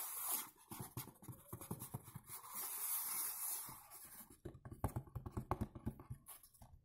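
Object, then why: Cardboard perfume box. Fingertips tap and scratch the front of a dark blue textured cardboard perfume box standing upright. For the first few seconds, soft taps mix with a bright, hissy scratching. The scratching then stops and gives way to a quick, uneven run of dull, low, hollow taps.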